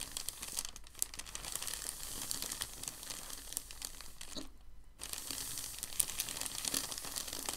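A large, thin, white crumpled packing paper sheet is lifted and folded, then pressed and rubbed flat with palms and fingertips. Dense, bright crinkling and crackling runs throughout, with a brief near-silent pause about two-thirds of the way through before the crinkling resumes.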